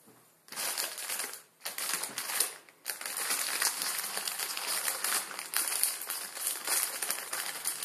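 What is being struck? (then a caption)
Plastic film noodle packet. A palm-sized Maruchan chicken ramen packet of crinkly plastic film, full of dry noodles, rests quietly on a wooden table before fingertips squeeze and crinkle it. Dense, bright crackling follows, with brief pauses near 1.6 and 2.8 seconds, then continues steadily to the end.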